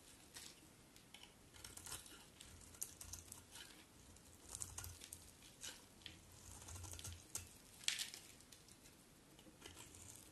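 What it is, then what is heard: Bar of soap being carved. A utility knife blade scrapes and carves flakes off a solid cream-white bar of soap held in the hand. The sound is quiet, with bright, crisp scratching bursts and soft crinkly shaving noises, plus a faint low rumble in places.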